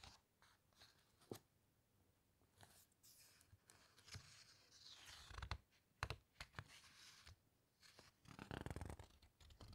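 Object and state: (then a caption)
Glossy book pages rubbed and turned. A flat hand with nails rubs and squeezes the glossy pages of an open hardcover atlas-style book, then turns a page. Quiet scratchy rubbing and crinkling swishes with a bright edge are broken by sharp little clicks and taps. Soft low thumps and rustles sound as the pages are pressed and the page is turned.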